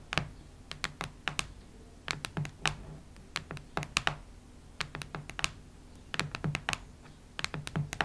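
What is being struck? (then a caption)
Cardboard hardcover notebook. Long red nails tap and scratch the cardboard-and-paper cover of a solid, cactus-print hardcover notebook lying flat on a wooden table. Quick bursts of dry, bright clicks with a soft low thud underneath come in uneven clusters with short pauses between them, and each click dies almost instantly.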